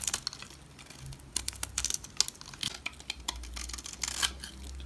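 A utility knife blade shaves long strips off the edge of a solid olive green bar of soap held in the hand. The shaving makes a series of short, crisp, bright scraping and crackling bursts over a faint low hum. Each stroke cuts off sharply with almost no ring.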